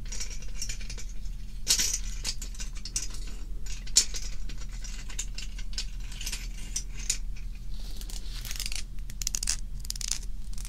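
Fingertips with long nails touch and shift a loose stack of small, thin, hollow, empty scallop shells resting on velvet fabric, making them clatter and rattle against each other. The sound is a dense stream of quick, bright clicks with a few sharper clacks, over a steady low hum.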